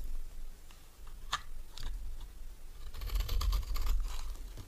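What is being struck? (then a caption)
Bar of soap cut with a metal knife. A solid green oval bar of dry soap is scraped and cut with a metal knife, shaving off crumbly pieces. Short dry crunching scrapes come in an uneven series, with a denser run of crackly scraping near the end.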